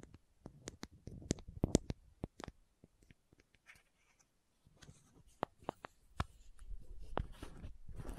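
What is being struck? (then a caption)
Small plastic contact lens case with screw caps. Long manicured nails tap and scratch the green and white screw caps of a small hollow plastic contact lens case held in both hands close to the mic, and twist the lids. Quiet, dry, sharp clicks and taps with a dull low body come in quick bursts, then a brief near-silence. A softer, continuous scratching rasp from the twisting lids follows.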